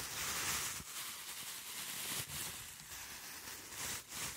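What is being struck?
Nothing is struck.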